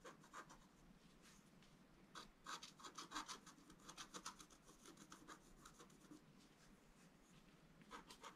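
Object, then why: Scratch art paper card scratched with a wooden stylus. A wooden stylus scratches a flat scratch art paper card in quick, irregular rasping strokes. The dry, bright scratches come in uneven bursts, loudest in the middle of the clip, over a faint low background.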